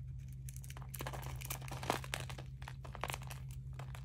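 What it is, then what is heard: Dry bar soap. A metal blade shaves and scrapes thin, crunchy curls from a solid, hand-sized oval bar of dry peach soap with a green glittery painted coating, held in one palm, as the shavings pile up beside it. The clip has a quick run of bright, dry crackling scrapes over a steady low hum.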